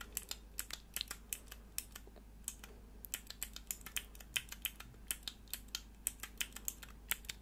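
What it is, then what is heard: Plastic mechanical keyboard switch tester. Long nails press and click the keys of a small, hollow, clear plastic mechanical keyboard switch tester held in the hands, with four mechanical switches and grey plastic keycaps. Around 36 quick, sharp, bright clicks sound in an irregular typing-like rhythm over a low steady hum, each dying away almost instantly.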